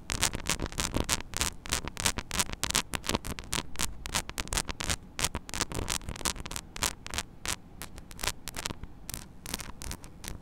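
Long nails scratch rapidly and irregularly across the small, hollow metal mesh grille of a mini microphone. The result is a dense run of short, bright, raspy scrapes over a steady low hum near 59 Hz.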